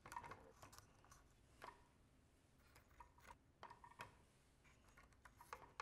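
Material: Wood.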